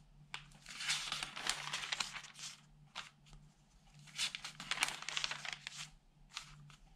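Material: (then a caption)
Paper. Fingertips turn the pages of a thin, flat, open newsprint newspaper, rubbing the sheets and lifting the paper. Bursts of bright, crisp rustling and crinkling come in uneven waves, separated by short, quieter pauses. A faint low hum stays under the sound throughout.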